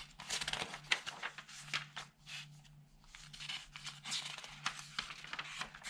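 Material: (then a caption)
Paper. An open newsprint newspaper lies on a table while fingertips slide over its thin pages and flip them. The result is a quiet, bright rustling and crinkling, with soft swishes and sharper papery snaps at each turn, over a faint low hum.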